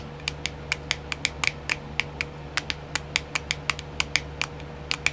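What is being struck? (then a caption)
Clear plastic compartment wheel. Long nails tap fast on a small, round, filled, clear plastic nail art wheel with compartments, giving 23 sharp, bright clicks that stop almost at once. A low, steady hum and a faint tone near 500 Hz run underneath throughout.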